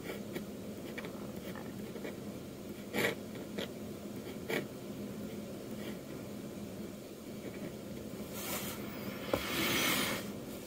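A metal dip-pen nib inks strokes across a flat sheet of manga manuscript paper, producing a soft, steady scratching hiss. Occasional sharper scratches stand out, and a louder, brighter scrape rises near the end before fading back to quiet.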